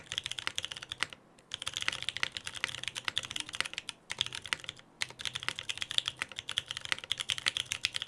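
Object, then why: Mechanical keyboard with plastic keycaps. A Frog TKL mechanical keyboard, lubed Pewter, with a dark case and white PBT plastic keycaps sits on a desk mat while two hands type continuously with their fingertips. Quick, bright, clacky keystrokes with almost no low end or ring tumble out in steady runs, broken by a few brief pauses.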